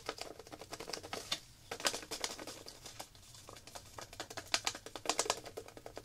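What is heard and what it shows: Long black nails rapidly tap and scratch a small clear plastic zip-lock packet of round coloring tablets held up close, clicking on the tablets through the plastic. A quick, dry stream of bright clicks and crinkly scratches comes in uneven bursts with brief pauses and almost no low end.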